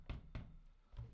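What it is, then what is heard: Running shoe sole with a loud knock. Three sharp, loud knocks from the foam sole of an Adidas Supernova Prima running shoe, its footfalls clacking like high heels. Each step lands as a short, low thud with a bright click on top and fades quickly. This is the loud-soled shoe, noticeably louder and sharper than a normal running shoe.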